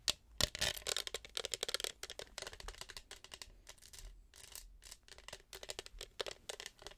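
A tall, hollow, studded and textured plastic tumbler with a straw, held close to the microphone, is tapped and scratched with long acrylic nails. Quick, crisp clicking taps mix with short bursts of bright scratching over 7 seconds. The sound is thin and high, with almost no low end and no ring after each tap.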